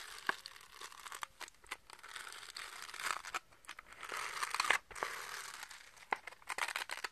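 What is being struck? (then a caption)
Velcro-faced hand paddle with plastic rim. A small round velcro catch paddle with a purple and orange felt/velcro face and a pink plastic rim is held in both hands and scratched across its velcro surface with fingertips and nails. The result is a dry, bright, crackly rasping, concentrated around 2 kHz with almost no low end, in uneven bursts broken by brief quiet gaps and sharp louder snags.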